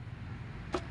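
A single tap on a thick steel suspension swing arm for a Suzuki Scrum gives a short, dull metallic tick with a brief ring around 360 Hz that fades almost at once. It plays over a steady low rumble. The arm is judged thick and of good quality.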